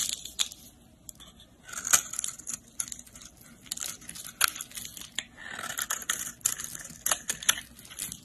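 A segmented utility blade scrapes across a solid pink soap bar held in the hand, carving ridges and flakes from its surface. The sound is a bright, dry run of crisp scraping and crackling strokes punctuated by sharp little clicks, almost all of it in the high range with no low-end weight.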